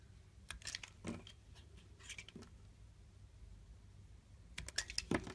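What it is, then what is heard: Bar soap being shaved with a blade. A flat metal blade shaves slabs off the sides of a solid mint-green bar of soap held in the hand. It makes short, crisp scraping and crackling cuts in a few clusters, with quiet pauses between. The sound is bright, and the last burst of shaving near the end is the loudest.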